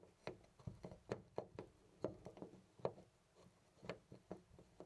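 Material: Brass.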